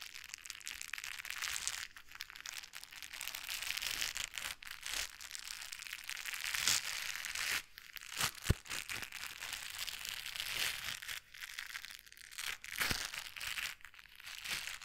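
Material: Foam.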